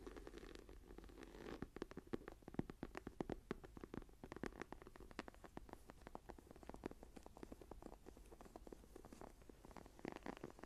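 Long nails on both hands scratch across the textured, embossed tree cover of a brown faux leather journal lying closed and flat on a table. The result is a dense, steady run of quick, dry scratching ticks and crackles with a soft low-mid body, sounding quiet and close throughout.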